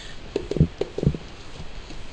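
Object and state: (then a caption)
Hollow-sounding cracked floor tile. Tapping on cracked ceramic floor tiles produces five short, dull, low-pitched knocks with almost no ring. The tiles sound hollow because too little adhesive was put down beneath them.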